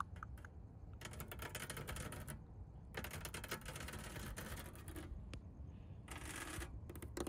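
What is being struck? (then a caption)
Plastic honeycomb grille mesh on a car. Long pink nails tap and scratch across the black hexagonal plastic honeycomb grille mesh set into the red body of a McLaren GT. Dense, crackly scraping with a bright rasp comes in several long stretches, separated by quieter gaps with scattered short taps. A low, steady rumble runs underneath throughout.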